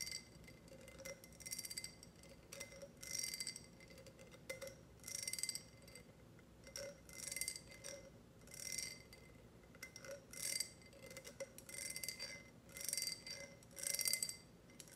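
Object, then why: Empty ribbed glass tumbler. Long red nails tap a tall, clear, empty ribbed glass tumbler with a grid pattern, held with its rim facing outward. Quiet bursts of rapid, bright clicking taps come and go with short glassy rings and soft pauses between them.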